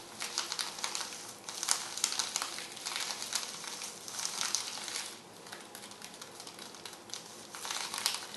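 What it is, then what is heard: Plastic bubble mailer. A small, flat white padded plastic bubble mailer lying on a dark cloth is scratched and tapped by long red-painted nails. Bright, papery crinkling and light pattering come in uneven bursts with a soft hiss between them. The sound stays quiet and high with no low end.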